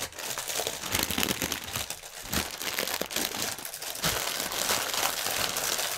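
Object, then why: Inflated plastic air cushion strip. Hands crinkle and press a clear, inflated plastic air-pillow packaging strip with their fingertips as it rests on a table. A dense, continuous stream of bright, crisp crinkles and sharp crackles fills the clip, with little low end and short surges of louder crunching throughout.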